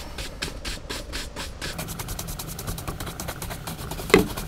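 A horsehair brush buffs the leather upper of an empty brown Lucchese leather cowboy boot sitting on a rack, while the other hand grips the boot. Slower, broad swishing strokes give way to fast back-and-forth brushing, over a steady low hum. A sharper knock sounds near the end.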